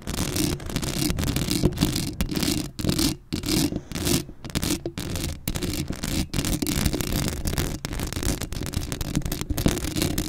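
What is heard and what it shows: Long acrylic nails scratch across the hollow metal mesh grille of a black Blue Yeti microphone, making a dense, continuous raspy scraping with a strong low rumble and bright, fizzy texture. The strokes run almost without pause, with only brief dips between them, and the scratching continues throughout.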